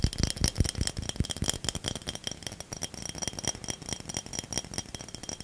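A small ridged cobalt-blue bottle that looks like glass is held in both hands close to the microphone and tapped and scratched with fingertips and nails, possibly also shaken. The result is a quick, irregular stream of light clicks, taps and rattling with soft low thumps and thin bright ringing tones above, each tap dying away almost at once.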